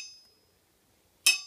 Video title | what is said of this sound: Testing ring and rebound on an anvil | This anvil has a nice ring to it. I wouldn't say it's a real high-pitched ring, but a ring nonetheless.